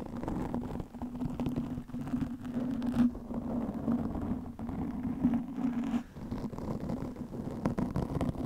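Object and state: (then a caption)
Foam microphone windscreen being scratched. Long nails of both hands scratch a black, soft, porous foam windscreen fitted over a microphone. The result is a dense, muffled, continuous scratching and rustling with a low, steady hum underneath and almost no bright edge. Brief dips in loudness break up the steady texture.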